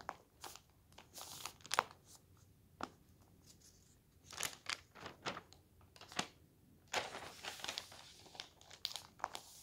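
A large, thin paper newspaper lies open on a table while bare fingertips and a palm smooth its pages, then lift and turn a page. Soft, dry rustles and sharp, bright crinkles come in quick, uneven bursts, with a longer, fuller crinkle as the page turns. The sound is quiet and close, with little low end.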